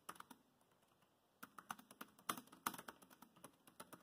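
Fast fingertip typing with both hands on a dark grey plastic laptop keyboard produces dense, crisp key taps. A few quick clicks are followed by a brief pause, then a steady run of sharp, short-lived taps with a bright clicky tone.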